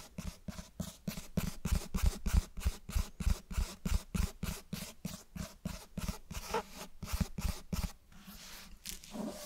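Fingernails scratch and scrape the cloth cover and page edges of a closed cloth-bound hardcover book held close to the mic. About 28 short, dry, rhythmic strokes come at a brisk, slightly uneven pace, each with a low thump and a bright raspy edge. The strokes fade to a softer scrape at the end.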